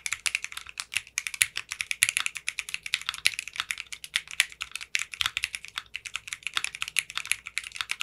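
Short painted nails and fingertips type steadily on a mechanical keyboard with clear pink polycarbonate keycaps. It makes a fast run of crisp, bright clacks, each dying away almost instantly, with most energy around 2 kHz and above and almost no low end.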